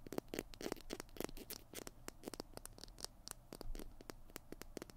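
Fingernails scratch and tap the tube and cap of a small hollow plastic glue stick held in both hands. The result is a quiet, rapid run of short, dry clicks and scratches with a hollow midrange body and bright edges, each stopping almost instantly.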